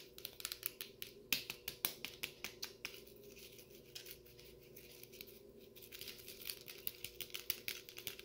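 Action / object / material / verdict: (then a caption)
tap / plastic cup filled with frozen cola / plastic / none. Fingertips tap and scratch the upper wall of a clear plastic cup full of frosty brown frozen cola held in one hand. Quick, bright, dry taps come in a steady run, fade into softer scratching in the middle, then pick up again toward the end, each tap dying away almost at once.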